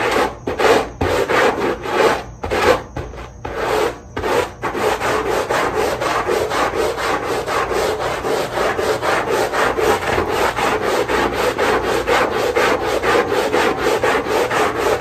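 A long-handled stiff-bristle push brush scrubs back and forth over the soap-foam-covered, dotted rubber backing of a small rug. A few spaced, wet rasping strokes come first, then settle into a steady, rapid scratchy rhythm with a mid-range, bristly hiss and little low end.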